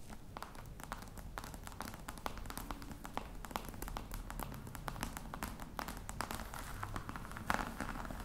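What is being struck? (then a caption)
Box covered in faux crocodile leather. Long red nail tips tap quickly and steadily on the top of a flat, hollow black box covered in embossed faux-crocodile leather. The taps are soft, dry clicks with almost no ring, heard over a quiet low rumble.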